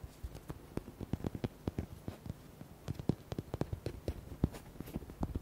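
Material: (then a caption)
Rubber. Fingertips and nails rapidly tap and scratch the body of a small, red, hollow rubber duck with white hearts, held in both hands. The quick taps sound dull and low-pitched, die away almost instantly, and come in an irregular, fast patter over faint scratching.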